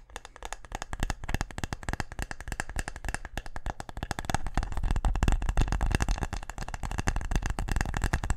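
A small, closed, box-shaped brown wooden case held in both hands is tapped quickly with fingertips and nails. A dense, uneven stream of short, dry knocks with a low, hollow thud underneath, growing louder after the first few seconds.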